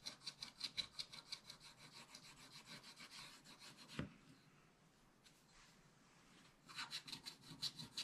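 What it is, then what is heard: Scratch-art paper being scraped. A wooden stylus scratches back and forth across a black-coated scratch-art paper page in a spiral book, removing the coating. It makes quick, bright, rasping strokes in a steady rhythm. A sharp tap about halfway through is followed by a quiet pause with faint rubbing, and then the scratching strokes resume.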